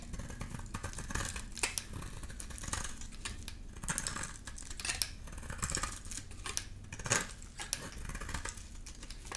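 A solid rectangular amber bar of dry soap, held in the hand, is shaved into curls with a utility knife blade. The result is a rapid series of short, crisp scraping and cutting strokes with bright, high crackle, over a steady low rumble.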